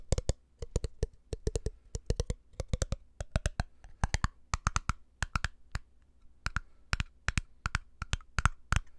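Fingertips and nails tap rapidly on a small, empty glass jar with a black lid, hitting both the glass and the lid. The result is quick bursts of sharp, dry clicks and taps with a soft low thump under each one. Later taps take on a brighter, slightly glassy tone, and every tap dies away almost at once.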